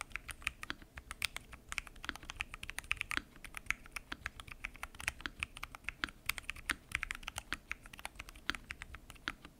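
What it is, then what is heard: Mechanical keyboard being typed on. Fingertips type continuously on a full-size mechanical keyboard with lubed switches, pink and mint PBT keycaps and a transparent acrylic case. A steady stream of short, crisp key clacks comes through, bright and centered near 2.2 kHz with little low end. Each keystroke stops almost instantly.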